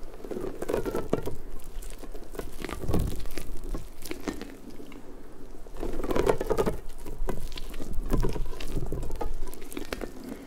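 A large, hollow, pink soft rubber puffer ball with spiky tendrils is squeezed and rubbed with fingertips and long nails. This makes a steady, irregular patter of soft tapping, crinkling and squishing, with faint squeaky tones from the rubber. The sound is mostly low and muffled, swelling louder in stretches as the squeezing grows more vigorous.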